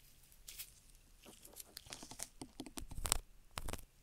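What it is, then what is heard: Silicone rubber ear scraped with a wooden stick. A gloved hand scrapes the concha and canal entrance of a black, solid silicone rubber binaural microphone ear, mounted on a microphone housing, with a long, thin wooden stick. Very close, dry scratching and crinkly scraping strokes come in irregular bursts, bright and hissy with a soft low rumble underneath. The strokes grow louder toward the end, then fade to quiet.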